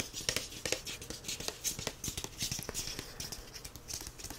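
Fingertips and short nails tap and scratch the front and back of the solid card cover of the paperback "The Grace of Wild Things." Quiet, irregular, crisp clicks mix with scratchy rasps, bright and papery with little low end, each tap dying away almost instantly.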